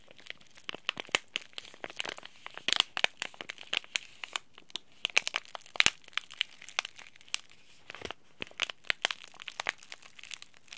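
A small, flat green laminated plastic/foil Oi Ocha tea bag sachet, sealed with the tea bag still inside, is held in both hands and crinkled and squeezed by the fingertips. It makes a dense, continuous stream of sharp, bright crinkles and crackles with almost no low end, with some louder snaps standing out through the clip.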